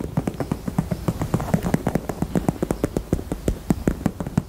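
A pink heart-shaped purse is tapped quickly and steadily with the fingers. Around thirty short, dull, soft taps sit low at about 190 Hz, with no ring after each one.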